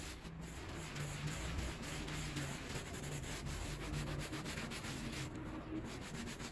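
A gloved hand scrubs a small, foamy, bear-shaped textile pile rug with a white handheld scrub brush in circular strokes. The result is a steady, continuous bristly rubbing and swishing with a heavy low end and a faint low hum underneath, holding at an even level throughout.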